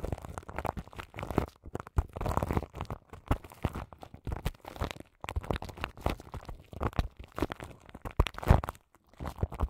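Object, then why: Microphone wrapped in plastic film. Long nails scratch crinkly plastic film wrapped around the grille of a large microphone, making a dense run of close, crackling crinkles and scrapes. The sound is mostly low and muffled, with brief pauses between bursts and a louder crackle near the end.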